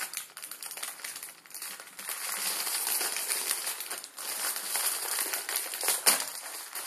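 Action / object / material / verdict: scrape / plastic film noodle packet / plastic film / none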